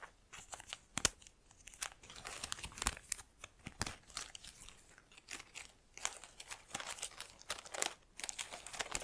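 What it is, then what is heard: Artificial plastic plant. Long nails pinch and rub the individual plastic leaves of an artificial plant in a black pot, held close. The result is a steady run of crisp, crinkly crackles and sharp little clicks, bright and high with almost no low end, each dying away instantly.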